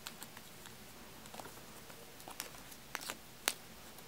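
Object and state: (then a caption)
Aluminium tealight cups. Fingertips and nails tap the thin metal rims and tops of stacks of unwrapped small aluminium-cup tealights, solid and wax-filled. The result is a light, bright patter of about six quick, dry ticks at irregular intervals over a faint steady hiss, each tap dying away almost instantly, with the sharpest near the end.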